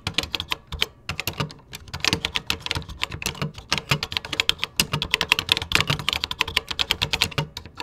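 Fingertips type steadily on a vintage computer keyboard with cream plastic keycaps, producing a rapid, irregular stream of crisp, bright plastic clicks and clacks. Each keystroke is sharp and short with no ringing, and the typing continues without pause for about eight seconds.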